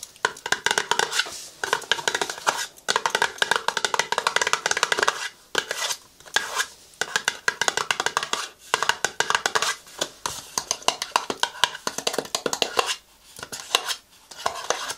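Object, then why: Small cardboard box. A small, hollow green cardboard cosmetics box, held in both hands by someone wearing several rings, is tapped and scratched with long nails. Quick bursts of dry, clicky taps and scratchy rustling run through the clip, broken by brief pauses. The sound is bright and papery with no low end, and each tap dies away almost instantly.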